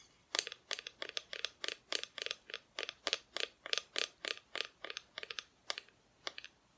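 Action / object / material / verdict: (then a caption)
tap / flat painted wooden cutout tapped with fingernails / painted wood / none. Long nails tap the painted front of a flat, solid wooden Christmas cutout of Mrs Claus, a tree and Santa, held in both hands. The taps are quick, bright and dry, coming in short rapid clusters of clicks that stop almost at once, with no low end.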